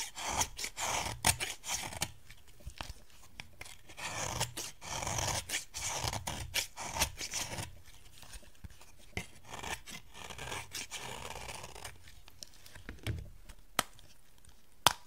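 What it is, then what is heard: Dry bar soap being scraped. A metal knife blade scrapes and cuts into a solid, dry yellow bar of soap, shaving off dusty flakes. Crisp, bright rasping strokes and short scratchy cuts come in quick bursts, with quieter pauses between. A few sharper clicks stand out near the end.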